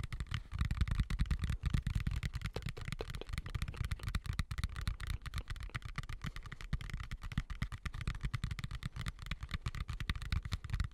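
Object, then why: Plastic colander. A medium white plastic colander with slots, hollow and empty, is turned upside down over the microphone while fingertips tap and scratch its outside. The result is a dense, continuous patter of soft, boomy low thuds with a dull hollow tone, mixed with faint scratchy rustle. The taps come too fast and close together to count.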